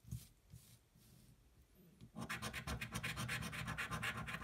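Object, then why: Paper scratch-off ticket scraped with a coin. A coin held in the fingers scratches the coating off a thin paper scratch-off lottery ticket lying flat on a table while the other hand holds the card steady. A few faint scrapes come first, then from about two seconds a rapid, steady run of bright, rasping strokes, roughly four per second.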